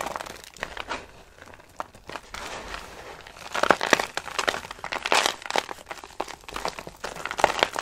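Dry soap shavings are pinched and crumbled between fingers, with pieces dropped back onto the pile. The result is a dense run of crisp, dry crinkling and crunching: quick clicks and crackles that are mostly mid and bright with almost no low end, getting louder and busier in the second half.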